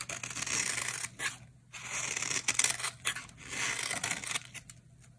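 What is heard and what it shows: A utility knife blade carves and scrapes flakes off a solid, dry, coral-red bar of soap held in the hand. Bright, crisp scraping and crackly shaving sounds come in bursts separated by short pauses.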